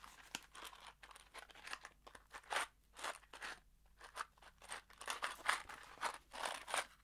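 A small, hollow kraft cardboard box holding screws is held in one hand and shaken, so the screws rattle inside. The result is a quiet series of bright, crunchy rattling bursts, each dying away almost at once, with short gaps between the shakes.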